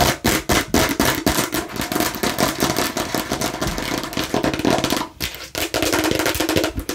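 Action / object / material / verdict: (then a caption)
tap / plastic toy watermelon slice / plastic / none. Aggressive tapping and scratching on a fake plastic watermelon slice: rapid, uneven clattering taps mixed with dry scratching. The hollow plastic tone centers around 300 Hz with bright, hissy edges. There is a brief pause just after five seconds before the tapping resumes.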